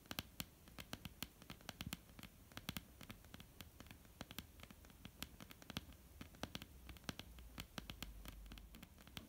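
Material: Wood.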